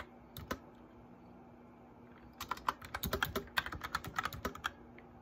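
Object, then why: Plastic mechanical keyboard. Fingertips tap the keys of a white backlit plastic mechanical keyboard while typing: a couple of isolated clacks, a pause, then a quick run of sharp, bright clicks. The keystrokes are crisp and short over a faint steady low hum.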